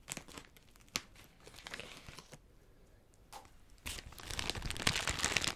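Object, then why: Plastic cellophane gift wrap. Crinkly iridescent plastic cellophane wrapped around a small gift is held and crumpled with the fingers. Bright, dry crinkling and crackling come in irregular bursts, with a sharp crackle near the one-second mark and a quieter stretch in the middle. The crumpling then builds into a denser, louder crinkle toward the end.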